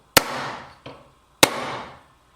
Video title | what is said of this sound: 31/ ENSAMBLES: Cola de milano calada 7/7 - Through dovetail, a David Charlesworth tribute | hasta escuchar un sonido seco Esa es la prueba de que Hemos llegado hasta el final